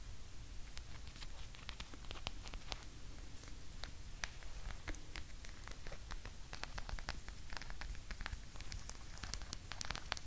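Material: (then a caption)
Rubber. Long nails scratch and tap the nubby surface of a hand-sized blue rubber massage ball covered in rounded spikes, likely hollow, held close to the mic. A steady stream of crisp, bright clicks and scratchy ticks plays over a constant low rumble, with no ringing after each tap.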